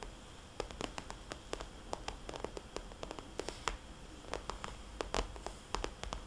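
Long dark-painted nails tap and lightly scratch a small, glossy, red polka-dot plastic cosmetics bag lying flat. Many quick, sharp, bright plastic ticks land at an uneven pace, each dying away almost at once. Soft scratchy rustling sits between them over a steady low hiss.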